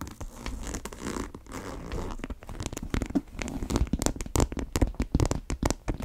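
Long nails scratch and tap across the top and side of a brown monogram coated-canvas tote bag with a single tan strap. Dry, steady scratching with a crinkly texture gives way to a quicker run of short, sharp, dull taps that die away instantly.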